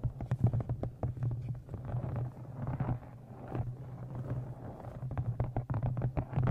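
Fingernails tap the top edge of a thick brown embossed leather journal with an inset blue stone and a metal clasp, held in front of a microphone. The taps are quick, dry, soft clicks over a steady low hum around 117 Hz, coming in uneven flurries with short, dead decays.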